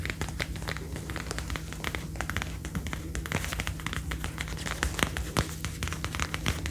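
Long dark-painted nails tap and scratch the upper arm and shoulder panel of a worn brown faux (PU) leather jacket, a soft thin material over the shoulder. Rapid dry, crackly taps and scratchy rustling run continuously over a steady low hum, with a few sharper clicks standing out.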